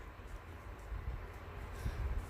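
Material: Nothing is struck.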